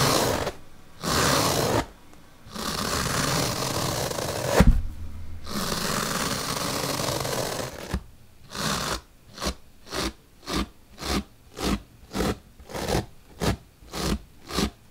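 A bottle brush is poked into a split white melamine foam magic eraser block held open by hand, giving long, broad, rough scraping rustles with a brief sharp thump partway through. It then shifts to a quick series of short, evenly spaced, bright scratchy pokes.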